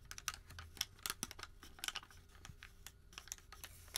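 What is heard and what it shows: A single long, thin white thermal paper receipt, a flat sheet, is crumpled and creased between the fingertips of both hands. The result is quiet, dry crinkling and rubbing: a rapid scatter of short, bright crackles with a faint low hum underneath.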